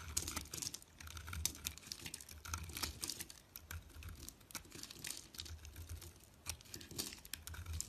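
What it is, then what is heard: Bar of soap being carved. A metal utility-knife blade shaves and scrapes flakes off a small, solid white bar of soap held in fingers with long nails, and the flakes pile up below. It makes a dense run of crisp, bright scratching and crackling strokes over a faint low rumble, with each short scrape dying away almost at once.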